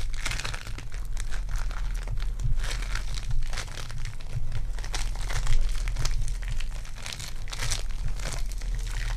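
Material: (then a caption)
Foam beads. Purple foam-bead clay is squished and rolled between fingertips with long dark nails. It makes a dense, continuous crinkling and crackling with bright, sticky popping bursts over a steady low hum.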